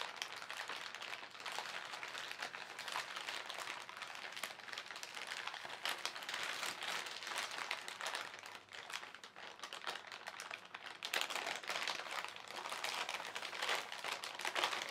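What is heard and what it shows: Fingertips pinch, scrunch and then rub a thin white printed plastic shopping bag, its crumpled film lying over contents. A steady, dense, bright crinkling continues throughout, with almost no low end. It eases briefly just before the nine-second mark, then turns sharper and louder from about eleven seconds as the flattened bag is rubbed.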